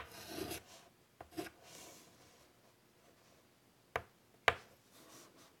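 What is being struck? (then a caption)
Chalk on a wood-framed chalkboard. White chalk draws small strokes across a large wood-framed chalkboard, making short dry rasping scrapes. Two sharp, bright ticks of chalk against the board follow, each cutting off almost instantly.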